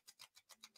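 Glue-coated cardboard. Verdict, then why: Hard. A piece of glue-coated cardboard, hardened with a heat gun to a hard, glossy surface, is scratched six times in quick succession. Each stroke gives a short, bright, dry rasp with almost no low end, showing the rigid, hard surface of the coated cardboard.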